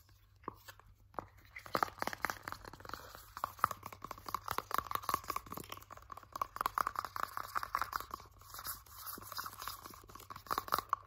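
A partly full 100 ml purple soft plastic Nivea hand cream tube is squeezed, crinkled and scratched with fingers and nails. The result is a dense run of quick, dry crackles and scratchy clicks with a faint squeaky tone near 1.2 kHz, starting sparse and growing busier throughout.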